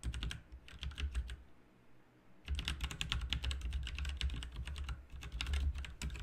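Both hands type continuously with their fingertips on an RGB backlit mechanical keyboard with plastic keycaps, producing rapid, bright, short clicks over a steady low hum. The typing briefly thins into a quieter pause about a third of the way through, then resumes in a dense, busy burst to the end.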